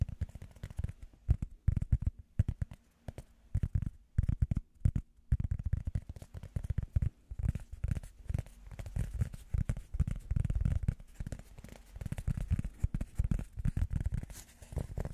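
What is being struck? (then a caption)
Rubber foam pad. A small, round, solid, soft blue rubber foam disc is held in the hands and tapped with fingertips and nails. It gives rapid, uneven bursts of dull, muffled low thuds with almost no ring or high sound, broken by a few brief pauses.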